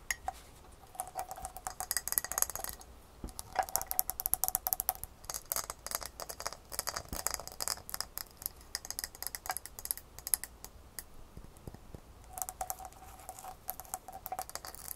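A medium glass mason jar, partly filled with ice cubes, is held and tapped with long fingernails. The result is a steady stream of quick, bright clicks and glassy ticks with very short ring. A faint tonal resonance comes and goes underneath, and the ice may rattle inside.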